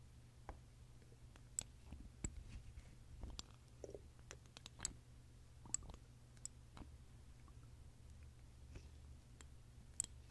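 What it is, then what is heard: Glass perfume bottle. A long fingernail repeatedly clicks on the cap and neck of a small glass perfume bottle filled with red liquid and held in the hand. The taps are sharp, bright and very short, scattered irregularly over a quiet, steady low hum.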